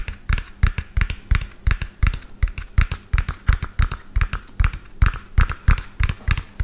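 A medium lime-green hollow plastic toy dump truck with an empty tipper bed is turned in the hand and tapped fast with fingernails. A rapid, uneven stream of short, dry taps follows, each a hollow low knock with a bright click and almost no ring.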